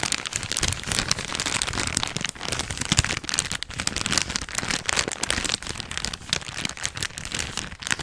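A thin, empty, folded yellow plastic bag is squeezed and crinkled with the fingers. It makes a dense, continuous bright crackle with rapid sharp snaps and only brief dips in level across the whole clip.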